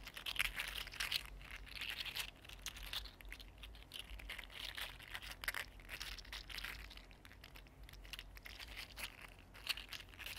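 A mini green silk-plastic 3D-printed articulated slug is held in both hands and bent and squeezed with the fingertips. Its segments give off quiet, dense runs of bright, dry clicks and crinkly rustling over a faint steady low hum.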